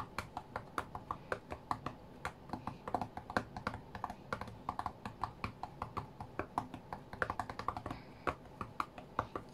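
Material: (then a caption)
Glass. Fingertips rapidly tap the glass touchscreen of an iPad tablet lying flat on a cutting mat while playing a rhythm game. About fifty short, dull clicks land in a quick, uneven rhythm, each dying away almost at once over a faint low hum.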